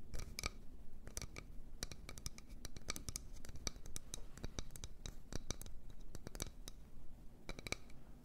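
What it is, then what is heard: Wooden bowl. A wooden bowl is tapped and scratched. It makes quick, dry taps with almost no ring, mixed with soft scratching over a low, dull body sound, at a steady quiet level throughout.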